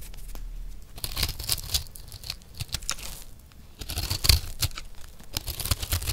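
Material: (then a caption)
Soap. A round, solid, turquoise disc of dry recycled soap is held in one hand and scraped and shaved with a metal knife blade. Short, dry, rasping scrapes and bright crackly tearing sounds come in uneven bursts, with soft low thumps beneath. Each scrape stops almost at once.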